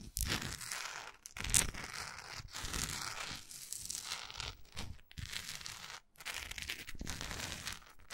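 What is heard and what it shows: A large, solid orange wax pillar candle with a textured surface is held in the hand and scratched and tapped with long acrylic nails. Bright, crackly scratching comes in uneven bursts with short pauses, mixed with dull taps and one sharper, louder tap near the start.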